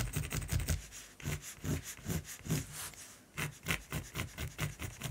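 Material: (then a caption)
Canvas. A black mechanical pencil shades a raven's beak and throat on a flat, solid primed canvas in fast back-and-forth strokes, with fingers close to the surface. Each stroke gives a dry, low scratching rub with a bright hiss on top, in quick repeated bursts with brief pauses between.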